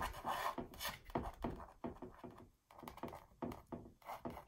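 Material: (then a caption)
Canvas. Fingertips and long nails scratch and rub an embossed red mandala textured canvas wall art piece. Quick, irregular rasping strokes follow one another at about three per second, dry and close, with a brief lull midway before the scratching resumes.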